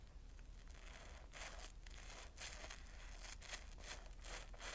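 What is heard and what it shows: A wet, foamy yellow porous cellulose sponge is squeezed, folded and rubbed by fingers above a bowl of suds. It makes crinkly, bubbly squelches in irregular bursts of bright, hissy noise over a steady low rumble.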